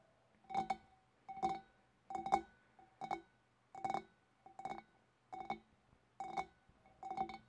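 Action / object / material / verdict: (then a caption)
tap / large glass fish bowl / glass / none. A large, empty, clear glass fish bowl with a wavy rim is held in both hands and tapped on its shoulder with long dark-painted nails. It sounds in nine quick clusters of clicking taps. Each cluster leaves a hollow, resonant glassy ring around 790 Hz that fades almost at once.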